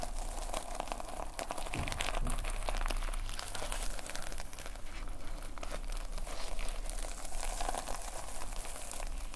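A notepad with a red plastic sequin fabric cover is held in both hands while the thumbs scratch and rub across the sequins. A dense, continuous crinkling and scratching rattle runs throughout at a steady, soft level, over a low hum.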